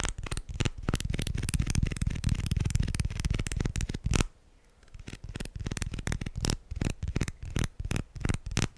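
Plastic guitar picks are tapped and handled in quick succession, making rapid, light, dry clicks with a card-shuffling quality. A dense run of taps fills the first four seconds, then after a brief quiet gap the sharp clicks resume more sparsely.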